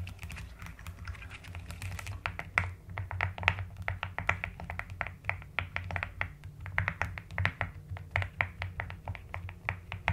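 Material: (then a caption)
Plastic. A mechanical keyboard with a white case and pastel plastic keycaps is typed on with fingertips and long nails, producing a steady stream of short, sharp clicks and clacks. The keystrokes have a bright tap centered around 2 kHz that dies away almost instantly, over a constant low hum underneath.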